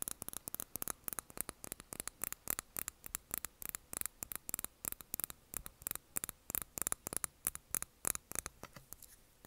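Long nails tap the sides and then the bottom of a small wax-filled glass candle jar on a desk, making about fifty quick, quiet clicks. Each tap is short, bright and dry with almost no ring, over a faint steady hiss.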